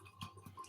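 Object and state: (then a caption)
Hollow-sounding focaccia, baked through. A freshly baked tomato and rosemary focaccia is tapped four times, each tap giving a soft, short, hollow thud. The hollow sound shows the bread is baked through.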